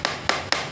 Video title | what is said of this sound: ngày 3/12 , tiếp tục đồ nghề và máy móc công cụ.0968904789. | đây là sắt nha, sắt nhôm gì nè.